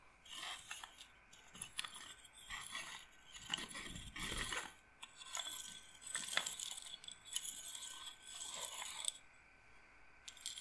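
A wooden bead roller massager, a wooden frame with beaded rods, is scratched with nails and its beads are rolled. This gives bursts of quick, bright clacking and scraping in uneven clusters, with crisp hits that die away almost at once.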